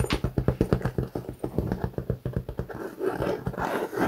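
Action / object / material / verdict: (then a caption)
scrape / quilted faux leather clutch bag / faux leather / none. Fingertips and nails scratch the surface of a white quilted Guess faux leather clutch bag, which is flat, hollow and held upright. Rapid, evenly spaced scratching strokes give dull, muffled thumps with a low hollow body. Toward the end the strokes blur into a denser, slightly brighter rasp.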